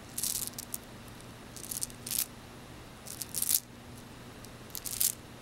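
A small bracelet of frosted white and blue faceted glass beads on metal links is handled and gathered in the palm with fingertips. The beads clack and rattle in four short, bright bursts of quick clicks, each fading fast, over a faint steady low hum.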